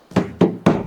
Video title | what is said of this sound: Cikgu Kereta Beli Kereta Projek!! - Kereta Projek Pt.1 | ni bunyi simen.